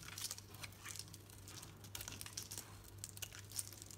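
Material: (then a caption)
Soap. A solid green Dalan soap bar painted yellow is held in the hand and shaved with a utility knife blade. The result is a quiet, steady run of crisp, bright scraping and crinkling strokes over a faint constant low hum.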